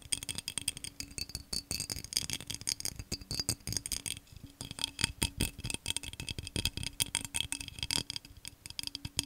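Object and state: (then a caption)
Textured glass vase tapped and scratched. Fingernails rapidly tap and scratch the patterned surface of a tall, hollow, empty cobalt-blue vase of textured glass. The result is a dense stream of fast, sharp clicks and scrapes, bright and glassy, centred around 3.3 kHz. Each tap dies almost instantly, over a faint steady low hum.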